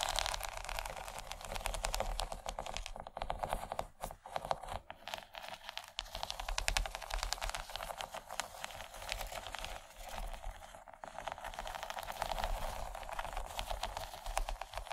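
Long nails scratch across the bumpy texture of a large, empty, yellow textured plastic tray. The result is a dense, continuous run of rapid crackling and crinkly scraping, bright and gritty, centered in the mid range around 770 Hz. It swells and briefly drops out several times over the fifteen seconds, with a faint low hum underneath.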